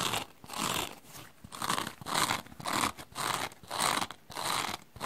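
Long dark-painted nails and fingertips scratch the coarse black open-cell foam scouring layer of a small, dry, rectangular kitchen sponge with a yellow foam base, held in one hand. This produces a steady series of short, raspy scratching strokes with a bright, hissy texture and a faint tone near 1 kHz. There is almost no low end, and each stroke stops quickly with brief quiet gaps between them.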